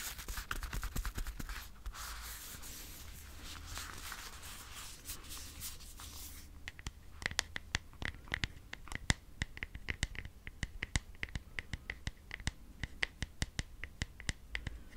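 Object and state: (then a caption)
Plastic over-ear headphones, scratched and rubbed. Fingernails scratch and fingertips rub the outer ear cup of dark blue over-ear headphones with a hollow plastic housing and padded ear cushions, held in the hands. For the first six seconds there is a dense, hissy scratching and rubbing over a faint low hum. It then gives way to quieter stretches broken by sharp, dry clicks and taps with a brief bright ring.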